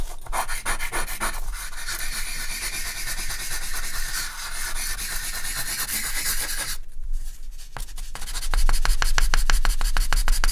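A hand scratches and draws lines with a charcoal stick on a flat white artist's paper sheet, shading a horse's head. A continuous dry, scratchy rubbing with a bright hiss is heard, built from steady repeated strokes. The texture thins briefly near the seventh second, then returns as quicker, louder strokes to the end.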